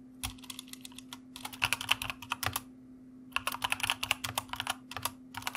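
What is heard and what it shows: Fingertips of both hands type on a white mechanical computer keyboard with plastic keycaps, producing about 33 quick, bright clicks in two bursts separated by a pause. Each click is sharp and dies almost instantly, with a sharp ring near 2.6 kHz, over a faint steady low hum.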